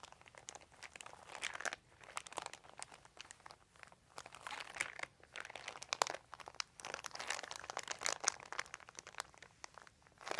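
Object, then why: Thin plastic sheet. Fingertips of both hands rub and crinkle a large, thin, white crumpled plastic sheet lying on carpet. The result is dense, bright crackling and crinkling in uneven bursts with brief quieter gaps, and almost no low end.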